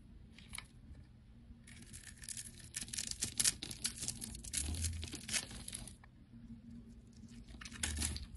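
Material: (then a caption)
Soap. A utility knife blade scrapes and chips the scored surface of a solid oval green soap bar held in hand. The scraping comes as dense, bright, crisp rasps and crackles, loudest through the middle of the clip and lighter at the start and end, over a faint low hum.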